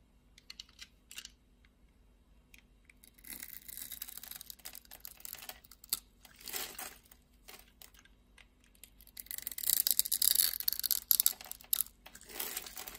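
A metal utility knife blade shaves a solid, translucent red glycerin soap bar with a grid-scored surface, held in the palm, into small cubes. Crisp, bright scraping and cutting bursts come in irregular strokes over faint background hiss. The strokes grow louder and denser toward the end.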